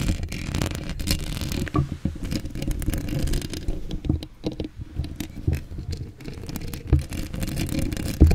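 Long acrylic nails scratch a hollow steel mesh microphone grille up close, with the camera moving into a close-up. The scraping comes through as a dense, bass-heavy rumble of rapid scratchy strokes with short, dry taps and little high-end brightness.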